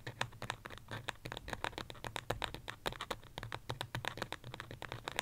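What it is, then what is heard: Ceramic plant pot, tapped and scratched. Long fingernails tap and scratch rapidly on the side of a small white pot, probably ceramic, that holds an artificial succulent. The sound is a dense run of short, dry, bright clicks with a scratchy texture and almost no ring between them.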